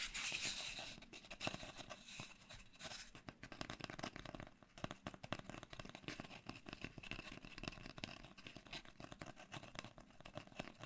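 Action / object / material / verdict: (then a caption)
scrape / cardboard mailing tube / cardboard / none. Fingertips and short nails scratch and tap along the surface of an empty, long, hollow brown cardboard mailing tube. The result is a dense run of dry, bright scratching and quick taps that starts with a louder hiss-like burst and then settles into steady, closely packed strokes.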